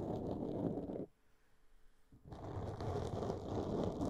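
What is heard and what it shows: A black, soft porous foam windscreen on a microphone is scratched and tapped with long polished nails of both hands. The result is a dense, muffled, low-heavy rustling and scraping. Partway through it drops to near-silence for about a second, then the scratching resumes.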